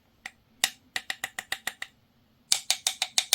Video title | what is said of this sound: PARKSIDE 12V Cordless LED Work Light PLLA 12 D3 (from Lidl or Kaufland) - unboxing, review and test | sounds like metal. So this is metal actually